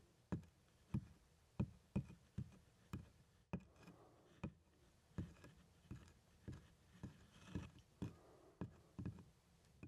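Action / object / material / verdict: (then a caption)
tap / leather doctor's bag / leather / none. Two small plastic toy hands tap and knock on the front panel of a large, hollow black pebbled-leather doctor's bag with a handle and clasp. About 22 soft, dull thumps land at an uneven pace, each short and low, centered around 125 Hz with almost no bright content, over a quiet background.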